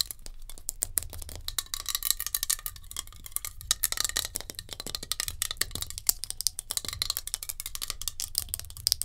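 Long nails tap fast on a metal hairspray can, making a dense run of sharp, bright clicks with almost no ring. The taps blur together in a steady rattling stream, with a faint low rumble underneath.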